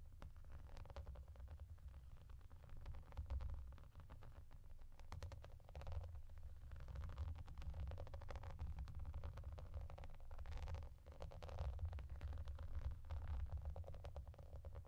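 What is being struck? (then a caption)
Plastic bath mat with raised hollow bubbles. Long painted nails rapidly scratch and tap across a clear, flat, translucent plastic bath mat with raised hollow bubbles. The result is a dense, continuous texture of soft clicks and scratchy rustling over a heavy, muffled low rumble, with little bright content.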